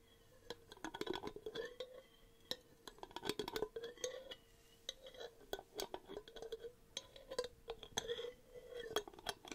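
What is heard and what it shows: Long painted nails tap rapidly on the lid and body of a medium, empty-looking clear glass jar with a paper label, held up in the air. The taps make sharp clicks and bright clinks in irregular bursts, each with a short, low ringing tone around 400 Hz.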